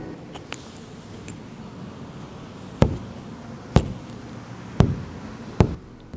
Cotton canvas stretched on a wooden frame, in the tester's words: the middle part is starting to sound like a drum when i flick it like this